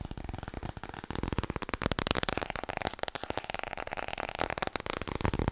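Long nails tap and scratch fast on a small, solid laminated cardboard children's board book held in both hands. Quick, dry, clicky taps come in a dense, uneven flurry, with scratchy strokes between them and a bright, papery top end. Each tap dies almost at once.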